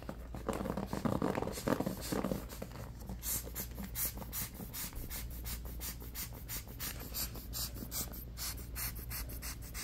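Fingernails tap and scratch on a striped bamboo paddle hairbrush, working over its solid wooden back and its black bristles with wooden pins. The first two seconds carry louder, fuller rubbing; after that comes a steady run of quick, dry, uneven taps with bright scratchy edges and almost no ring.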